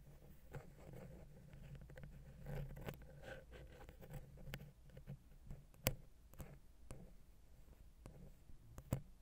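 A wooden ear pick taps and scratches the silver metal X/Y microphone capsules on a Zoom H6 recorder. Soft, low-heavy scratching and rubbing run throughout, broken by several sharp, quickly fading taps, with the loudest near the six-second mark and again just before the end.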